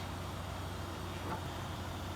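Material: Nothing is struck.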